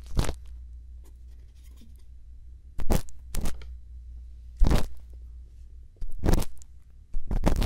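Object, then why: Silicone microphone ear scraped with a bamboo earpick. A thin bamboo earpick scrapes inside the canal of a silicone ear on a binaural microphone while a hand holds the mic. Six short, bright, crunchy scratching bursts stand out over a steady low hum, with quiet stretches between them.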